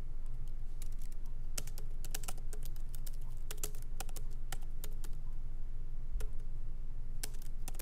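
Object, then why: Laptop keyboard with plastic keys in aluminum body. Both hands type lightly with the fingertips on a MacBook Pro laptop keyboard, its plastic keycaps set in an aluminum body, resting on a wooden desk. Short, bright clicks arrive in an irregular rhythm, each fading almost instantly. A steady low hum runs underneath throughout.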